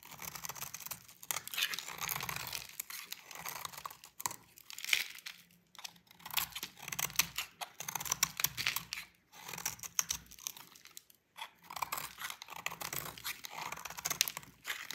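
A utility knife blade scrapes shreds off a solid, dry orange oval bar of soap with a painted rim, held in the hand. Dense, crisp scraping and crunching bursts come in quick irregular runs, bright and high with almost no low end. Each scrape stops dead with no ring.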